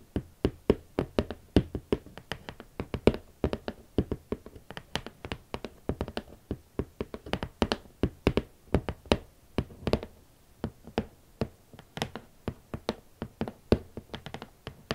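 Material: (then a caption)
Cardboard. Long nails and fingertips tap a steady stream of about 69 short, dry knocks on the lid of a large, rigid, red cardboard Valentino shoe box. The box is hollow and holds hot pink leather Valentino Club platform boots. Each tap is a quick, hollow thud with a little low body and almost no ring.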